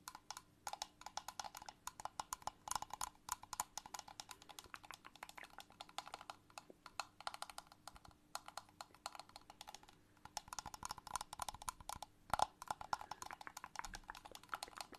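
Long nails tap rapidly on a small transparent plastic box with a green plastic lid, filled with liquid and toy figures. The quiet, dry clicks are crisp and mid-pitched, around 830 Hz, and die away almost instantly, coming in dense bursts with brief pauses. A faint steady hum runs underneath.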